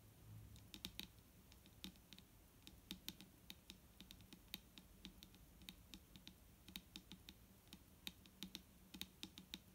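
Long nails on both hands tap a large clear plastic micellar water bottle with a green cap, full of liquid and lying on a wooden table. About forty-five quick, irregular taps sound as bright, dry clicks that die away almost instantly, with a faint low rumble beneath.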